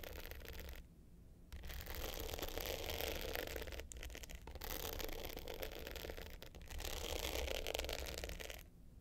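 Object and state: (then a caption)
Glitter hard-case clutch. Long pointed nails scratch and tap the dark blue glitter top of a small, rectangular, hollow hard-case clutch with a gold metal frame lying flat. Dense, gritty scraping fills the clip in long bright bursts, broken by brief quiet pauses, over a steady low hum.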